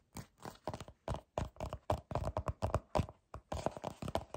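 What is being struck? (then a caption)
Plastic squeeze tube. Fingers with short dark nails grip, rub and scratch a small, hollow white plastic squeeze tube from The Inkey List with a printed label. The result is a fast run of short, dull, crinkly scrapes and soft thuds. The sound is mostly low and muffled, with brief bright edges on each touch.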